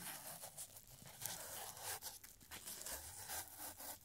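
Fingertips in purple nitrile gloves stretch, flex and crinkle a narrow, aged, stained paper strip reading "Don't turn off the lights." The result is a quiet, irregular stream of dry, bright crinkles and papery crackles with little low end, swelling and fading as the paper is worked.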